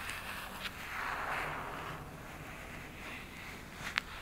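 Long nails scratch across the cardboard cover of a cactus-print hardcover notebook lying flat, making a soft, steady rasping hiss. A single sharp, bright tap on the cover cuts through near the end.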